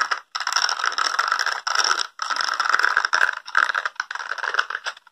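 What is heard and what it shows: Fingertips and nails scratch along the spikes of a small, solid blue plastic spiky brush held close to the microphone. The result is a dense, crackly scraping rattle that comes in long strokes separated by brief pauses. It is bright and mid-focused, with no low end.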